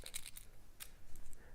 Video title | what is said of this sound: RLM Elite Pike February 2019 | the propellers do make some noise when you shake it but there's no rattle on the inside